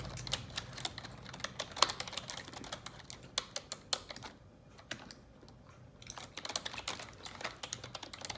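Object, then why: Plastic computer keyboard keys. Long neon-yellow nails type fast on the keycaps of a black plastic computer keyboard, making quick, bright clicking taps. The clicks come in dense bursts with a brief pause in the middle before the fast typing resumes.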